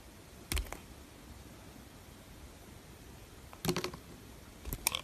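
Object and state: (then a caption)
Bar soap being carved. A small metal blade shaves thin curls off the surface of a solid, opaque, hand-sized pink bar of soap held in one hand. Three short, crisp scraping bursts with a dry, crackly texture and a brighter edge near 2.4 kHz break a low, quiet background. Each burst stops almost instantly, with no ring.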